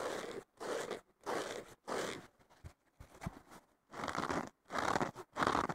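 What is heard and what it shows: Fingertips and nails scratch the surface of a thick, solid, porous blue synthetic foam sponge block, possibly with a green scouring layer underneath, lying on a wooden table. Dry, crunchy, broadband scraping strokes come in repeated bursts separated by brief silences. Quieter, softer rubs and a few low thuds fill the middle before the strokes grow louder again.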